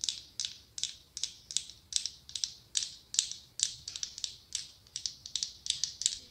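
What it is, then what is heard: Mosaic glass pumpkin. A hollow glass-tile mosaic pumpkin held in the palm is tapped on its top and sides with long acrylic nails. The result is a quick run of sharp, bright clicks with very short decay and almost no low end.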